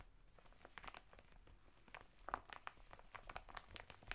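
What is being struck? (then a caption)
Woven fibre bath mitt in thin plastic packaging. Fingertips and nails scratch the textured surface of a flat bath mitt of coarse woven natural fibre, sealed in a thin printed plastic packet standing upright on a table. The result is a quiet run of dry crinkling, scratchy rasps and short, bright plastic ticks that die away almost instantly.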